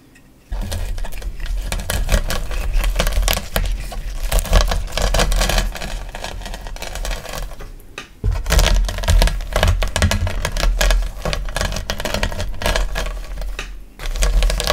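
A wooden rolling pin, pushed with both palms, rolls over a pile of hard, solid, blue-and-white dyed gym chalk (magnesium carbonate) chunks of various small sizes on a flat surface. Dense crunching and cracking with a heavy low rumble starts after a quiet half second and runs continuously until about 8 seconds. It pauses briefly, then resumes, and eases off near the end.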